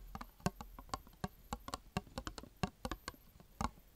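A small, round, empty clear plastic tub held in the hands is tapped and scratched with long dark-painted fingernails, giving about sixteen quick, dry taps. Each tap is a short hollow knock with a low body near 180 Hz and a crisp bright click that dies away at once. Faint scratching fills the gaps between the taps.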